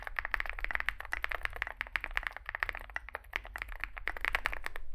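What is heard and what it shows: Fingertips type continuously on a small 65% Zoom65 mechanical keyboard with a dark case and white and grey SA plastic keycaps. A rapid, uneven stream of short, dry clacks centers around 2 kHz, each dying away almost instantly, over a steady low rumble.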